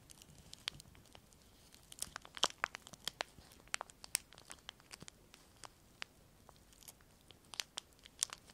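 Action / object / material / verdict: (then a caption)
scrape / thin clear plastic sheet / plastic / none. A small piece of semi-thick clear plastic film is crinkled and pulled between the fingertips of both hands near the microphones. Dozens of sharp, dry, bright crackles and snaps pop out irregularly over a quiet hiss, with almost no low end. Each one stops at once.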